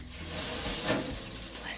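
A batch of lemongrass, dehydrated over a full day, is handled and gives off a dry, crisp crackling and rustling with a lot of bright high-frequency hiss. The crunchy sound shows the lemongrass is fully dried.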